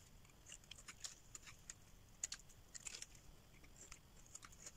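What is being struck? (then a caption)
Soap bar scraped with a metal blade. A solid green rectangular dry soap bar held in the hand is scraped with a metal blade, shavings curling off. Quiet, dry, crisp scratching and crackling clicks come in bursts, bright and high with very short, clipped decays over a faint low background hiss.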